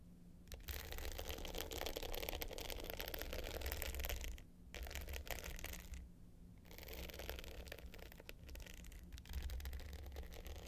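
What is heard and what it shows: Long pointed nails scratch the dark blue glitter top of a small, rectangular, hollow hard-case clutch with a gold metal frame, lying flat. The result is a dense, gritty scratching with a bright, rasping texture over a steady low hum, broken by two brief pauses before the scratching resumes.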